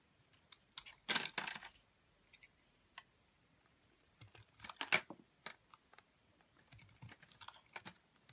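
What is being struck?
Soap bar cut with a metal blade.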